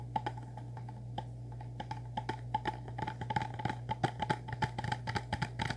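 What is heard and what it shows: A small, hollow, orange printed cardboard product box is held upright in both hands and tapped and scratched with the fingertips and nails. It gives a quick, irregular run of short, dry clicking taps with a hollow tone near 850 Hz and light scratchy rustles, over a steady low hum. Each tap dies away almost at once, and the pace picks up in the second half.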